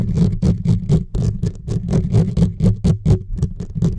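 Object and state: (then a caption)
Metal mesh microphone grille being scratched. Fingertips and short nails from both hands scratch fast across the bare metal mesh grille of a silver USB microphone with no windscreen. The result is a rapid, uneven run of scratchy strokes, each with a bright hiss over a heavy, boomy low thump.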